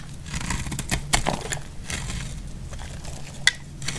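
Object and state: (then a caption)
Dry, crumbly soap bar. A utility knife blade cuts along the side of a solid cream dry laundry soap bar, shaving off crumbly flakes. It makes a steady dry, crackling scrape over a low rumble, with sharp bright clicks as pieces snap off, the loudest near the middle and again toward the end.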